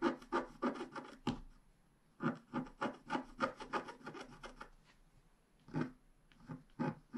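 A wooden stylus scrapes away the black coating of a flat scratch-art page with a unicorn picture, revealing the colored layer beneath while one hand holds the page down. Short, dry, rasping scratch strokes come in quick uneven bursts, about eighteen in all, with quiet pauses between groups.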